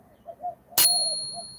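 A Morgan or Peace silver dollar coin is given a ping test for sale, producing a sharp, high, bell-like ding after faint low murmurs. Its clear tones ring on and slowly fade over about a second. The clean ring marks the coin as real silver.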